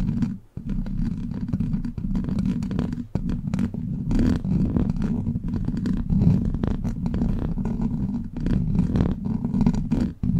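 Long black plastic claw nails scratch across a hollow steel mesh microphone grille, producing a dense, continuous rasping texture that is heavy in the low end with a rumbling body. The scratching runs nearly without pause, dipping briefly to near silence at a few moments before resuming at the same steady level.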